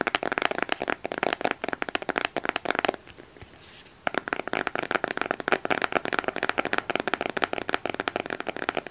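Fingernails tap and scratch the printed front cover of a closed black cardboard eyeshadow palette case. Quick, dry, bright taps come in a fast, uneven stream, pause for about a second of soft, quiet scratching, then start again and continue to the end.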